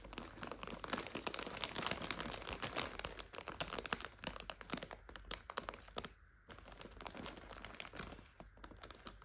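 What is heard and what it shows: A clear plastic bag full of dried egg noodles, its back label showing, is scratched and crinkled with long nails. Dense, bright crinkling and crackling runs continuously, with a brief quiet gap near the middle.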